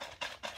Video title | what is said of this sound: Russian wwi gas mask | if I shake it, you could probably hear that kind of rattling